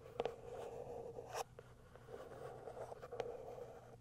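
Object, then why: Small cardboard box with plastic window. Long acrylic nails scratch the top and plastic window of a small white cardboard box held in both hands. A soft, steady scratching with a mid-toned hum is broken by a few sharp clicks, the loudest near the start and around the middle.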